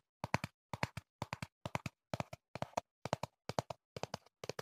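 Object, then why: Small cardboard box. A slim, hollow, hand-sized teal-and-black printed cardboard product box is held up close and tapped with the fingertips. Ten short clusters of quick, dry taps sound in a steady rhythm. Each tap gives a hollow, clip-clop-like knock with a mid-range tone and almost no ring.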